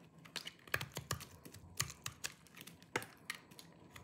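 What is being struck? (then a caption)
Bar of soap shaved with a small knife. A small knife with a yellow-tan blade shaves and scrapes the surface of a hand-sized solid bar of dry green soap held in one hand, and crumbly flakes fall off. It makes a quick, uneven series of about sixteen short, dry, crunchy clicks with a bright, crisp edge. Each scrape stops at once with no ring, leaving a faint low hush between them.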